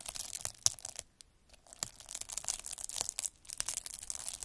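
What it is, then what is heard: Plastic bubble wrap scraped by a needle roller. A metal-needle derma roller is rolled across a clear plastic bubble wrap sheet, scratching over its air-filled bubbles. The result is a bright, dry crackling and crunching with dense sharp clicks and almost no low end. The texture pauses briefly near the one-second mark and again just past three seconds before resuming.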